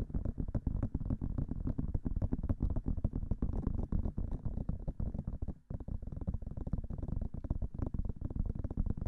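Long nails and fingertips rapidly tap the white silicone ears of a binaural microphone. The result is a fast, irregular stream of dull, muffled thumps with deep, boomy low end and very little brightness, each tap dying away almost instantly. A brief gap of near silence breaks the tapping just past the halfway point before it resumes.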